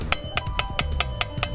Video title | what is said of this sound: Mini trépied tentaculaire pour gopro, smart phone avec tête de Travelling à accrocher partout (vf) | si je tape dessus on entend que c'est une boîte en fer